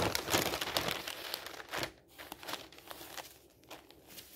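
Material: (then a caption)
Paper. A hand lifts and turns the thin sheets of an open newsprint newspaper lying on a table, making bright, crisp rustling and flapping crinkles. The crackle is loudest and densest in the first two seconds, then settles into softer, scattered rustles as the pages settle.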